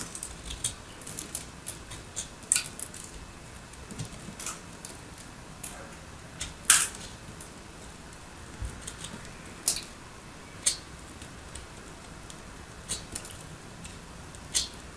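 A fist-sized solid chunk of purple and white dried soap is held in the fingers of one hand with long light nails while the other hand scrapes and carves its surface with a small metal blade, dropping crumbs onto a purple surface already covered in soap shavings. Quiet, crisp, bright scraping clicks and short crackling cuts come at irregular intervals over a soft hiss, each dying away quickly, with a few sharper, louder crunches standing out.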